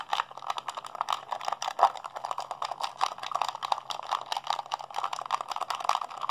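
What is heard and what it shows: A hollow blue plastic PlayStation 3 handheld controller is held in both hands while fingertips and thumbs rapidly mash its buttons. The result is a dense, continuous stream of sharp, dry plastic clicks and rattles, centered in the midrange with bright edges and no low end. Each click dies away almost instantly.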